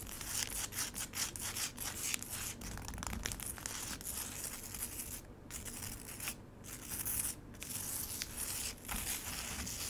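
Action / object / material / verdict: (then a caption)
scrape / frozen lemonade ice in a plastic tray / ice / none. A solid slab of frozen lemonade ice in a black rectangular plastic tray is scratched and tapped across its icy surface with long acrylic nails. The result is a dense, irregular stream of crisp, bright scraping and ticking with brief gaps, dry and without ring.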